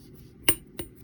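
Two bright metallic clinks from a tap on a part of a Bolany ZTZ fat bike suspension fork being fitted to a Juiced RipCurrent fat e-bike. The first tap is louder, and each decays almost at once over a low background hum. The part is judged to be definitely metal, since it clinks and feels cold.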